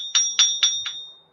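A grey, lead-looking piece of metal with an RX symbol, pulled from the lead box at a scrapyard, is struck four times and rings with a clear, bell-like tone near 3.5 kHz that carries on after each hit and fades out. It is not lead: it is non-magnetic, won't cut, won't melt in a small furnace and doesn't spark when ground, and its exact material is unknown.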